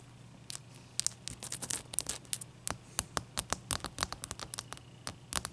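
Long fingernails scratch and tap on a large, clear, solid ice cube resting on a towel. A rapid, irregular series of sharp, bright clicks and short scrapes rises over a quiet background with a faint low hum. Each tick stops dry and instantly.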